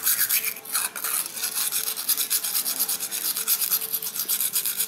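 A large steel kitchen knife is stroked repeatedly across a solid dark rectangular whetstone resting on a tiled floor, with fingertips pressing on the blade. Each stroke gives a bright, hissing rasp of steel on stone, and the strokes follow one another in a steady, even rhythm.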